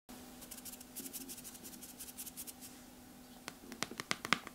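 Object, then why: Hardcover book with glossy cardboard cover. Long red-painted nails trace and scratch across the glossy cardboard cover of a large, solid hardcover book, "exoplanètes," lying flat on a table. Soft, bright, rhythmic scratching strokes play over a faint steady hum, then give way to sharper, crisper taps and scrapes near the end.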